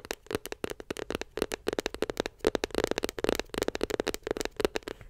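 Long nails tap rapidly on a closed, small white glossy cardboard iPhone 7 Plus box, making a quick run of about two dozen dry, clicky taps. Each tap has a hollow knock in the low-mids and a bright click, and dies away almost instantly.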